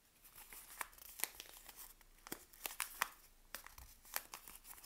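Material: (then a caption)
Paper, soap. A second sealed Palmolive soap bar in its paper wrapper is held in both hands while long nails scratch and tap across the wrapped face of the solid bar. Crisp, bright paper crinkling and scratching mixes with sharp, short taps that stop almost instantly, leaving little low-end weight.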